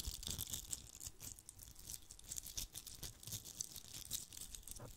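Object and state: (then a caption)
Glitter-covered Christmas bauble. A fist-sized red Christmas bauble with a coarse glitter coating over a hollow shell, likely plastic or foam, is held in one hand and scratched and rubbed with the fingertips and short nails of the other. This produces a quiet, dense, bright scratching crackle with rapid gritty ticks and a soft low rustle underneath. The sounds stop dead with no ring.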